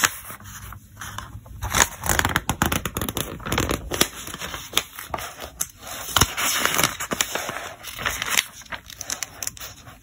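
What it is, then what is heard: Glossy paper catalog pages. Fingertips turn and flip the printed pages of a thick glossy paper trade catalog, a solid bound magazine with a loose flyer insert. Bright, crisp crackles and dry rustles are broken by sharp, quick paper snaps as each page falls over, with short scraping slides between turns.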